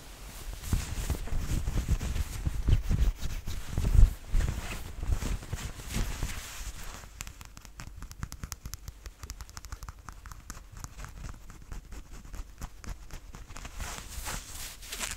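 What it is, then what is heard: Corduroy jacket being scratched. Hands and nails scratch, rub and pat the ribbed fabric of a red corduroy cotton jacket worn on the body, with dark buttons and a chest pocket, near the front placket with some quick hand motion. The first seven seconds carry heavier, low-weighted thumping pats and rubs, peaking around four seconds. After that the sound settles into quieter, dense, crackly scratching that continues to the end.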